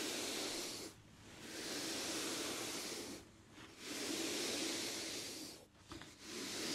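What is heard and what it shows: Hands with long dark nails smooth and rub across a plain white cotton t-shirt laid flat on a heat press platen. The result is a steady, bright, hiss-like fabric rustle in long sweeping strokes, each swelling and then briefly fading in short pauses between passes.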